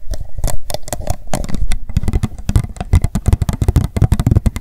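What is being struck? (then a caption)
Upturned plastic cup. Long acrylic nails tap quickly on the sides and base of an empty pink plastic cup turned upside down on a towel. The result is a rapid, uneven run of short, dull, hollow clicks with a low-heavy thud and almost no ring.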